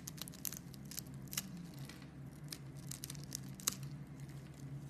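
A metal blade scrapes and shaves the scored surface of a solid pink bar of soap. Soft, crisp scraping and crumbly crunches come as short, bright bursts over a steady low hum. The whole clip stays quiet.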